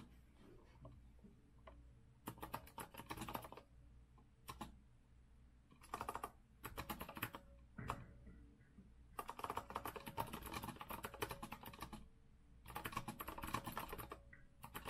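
Both hands type with fingertips on a retro compact Azio RCK mechanical keyboard with a rose-gold metal frame, round backlit keycaps and a white base, resting on a wooden desk. Fast bursts of sharp, clacky key taps come in several flurries separated by short quiet pauses over a faint low hum. The taps are crisp and dry, with a midrange click and a bright edge.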